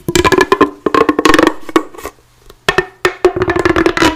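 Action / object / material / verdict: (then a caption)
scrape / corrugated plastic pop tube / plastic / none. A hollow, bright pink corrugated plastic pop tube is bent and stretched while long blue-painted nails scratch and flick along its ribbed surface. Bursts of quick, dry clicks and ticks carry a hollow, pitched ring and bright crackle, broken by short pauses. The clicks cut off sharply with almost no ring.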